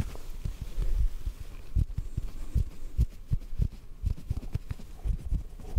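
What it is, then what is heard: Cotton ball. A small white cotton ball is pinched between the fingers and softly tapped with a fingertip. The result is a run of quiet, dull, muffled low thumps with almost no high content. Each tap dies away almost instantly.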